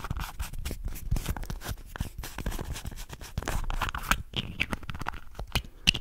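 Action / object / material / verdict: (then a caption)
scrape / small hollow plastic contact lens case / plastic / none. Fingernails scratch the edges and surface of a small, hollow red and white plastic contact lens case held in both hands. The result is a quick, dense run of dry, bright scratches with a low thudding undertone, and the strokes blur together rather than falling as separate hits.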